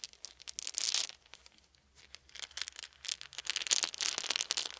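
A handful of small round solid wooden beads is rolled and rubbed together between cupped hands above a fluffy blanket. The beads clack against each other in dense bursts of bright, dry clicks with almost no low end. Louder swells come near the start, around the three-second mark, and through the end.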